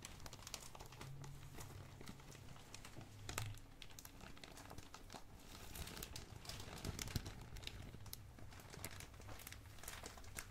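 A medium, glossy black, blue and red plastic packaging bag, hollow and loosely filled, is squeezed and crinkled with both hands and fingertips. It gives a steady, quiet stream of dense, bright crackles and crisp snaps, with a low hum underneath. Slightly louder bursts come around 3.5 and 7 seconds.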